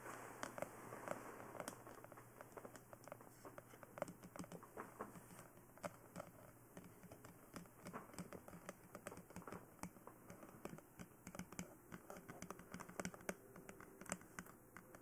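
Long nails tap and scratch at the ears of a glossy black hard plastic dummy head microphone. The result is a steady patter of quick, dry clicks with soft scratching in between. Each tap dies away almost at once over a quiet, low background hum.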